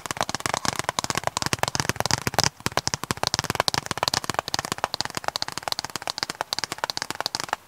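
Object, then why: Hard plastic DVD case. A hard, hollow plastic DVD case with a printed cover sleeve is held in both hands while fingertips and nails tap and scratch its surface. Rapid, sharp, dry clicks and scratchy ticks come in a dense, uneven stream, with bright, crisp highs and almost no ring or low thud.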